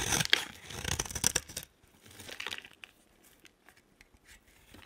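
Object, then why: Bar of soap shaved with a blade. A hand-sized solid green bar of soap with a yellow outer layer, held in one hand, is shaved and scraped with a utility knife blade. Dense, bright, papery scraping and crisp tearing rasps fill the first second and a half. Quieter, irregular short scrapes follow as the blade keeps cutting.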